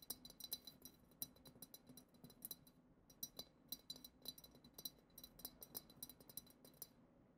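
A clear, hollow glass goblet decorated with glitter is tapped with long acrylic nails, on the bowl and on the lower part near the foot. The result is a quick run of light, bright clinks with very short ring, clustered in bursts with brief pauses between them.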